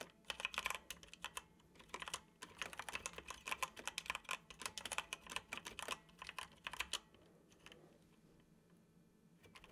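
Fingertips tap the keys of a dark plastic computer keyboard in continuous typing, producing a dense run of short, bright clicks with almost no low end. The typing runs for about seven seconds, then stops, leaving only a quiet background.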